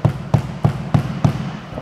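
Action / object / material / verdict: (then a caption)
knock / fiberglass sandwich motorhome side wall / fiberglass / solid. Five dull, low knocks strike the fiberglass (GFK) sandwich side wall of a 2023 NOTIN Mercedes Calgary Evolution fully integrated motorhome. Each knock is a short thud centered near 150 Hz that dies away almost at once. The firm, deadened response shows a solid, hail-resistant wall.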